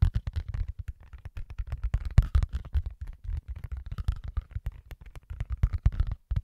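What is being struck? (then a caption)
Rubber mouse pad. A large, flexible black rubber mouse pad printed with keyboard shortcuts is held in both hands close to a microphone and scratched and tapped with the fingertips. The result is a rapid, uneven stream of short, soft, muffled thumps and scratches, almost all of it low and boomy with very little brightness.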